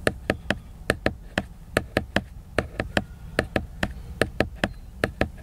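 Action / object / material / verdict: tap / laminated paper book cover / laminated paper / none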